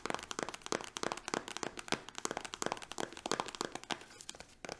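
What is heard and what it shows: Long nails tap and scratch a small green soft-plastic hand cream tube held in both hands. A rapid run of sharp, dry clicks mixes with crinkly scratching, each tap short with almost no ring.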